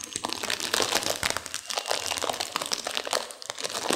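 A sealed plastic instant-noodle packet with dry noodles inside is squeezed and crinkled by hands and long nails to crunch the noodles. Dense, bright crinkling of the wrapper blends with quick, crisp crunches and snaps that continue steadily for the whole clip, with almost no low end.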